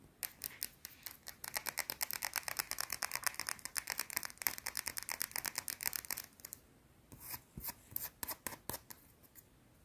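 Long painted nails rapidly scratch a small, solid, round white soap bar held between the fingers. Dozens of quick, dry, bright scraping strokes come in a fast, steady run, then thin out into sparser, separate scratches with quiet gaps near the end. The sound is crisp and high with almost no low end and no ring.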